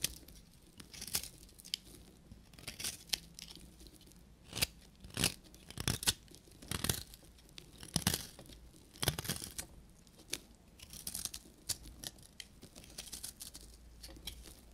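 A short metal knife blade scrapes a solid, dry beige bar of soap, shaving off crumbly flakes. The result is a series of irregular, bright, crisp scraping and crunching bursts with dry, tearing textures and no ringing, separated by quiet pauses.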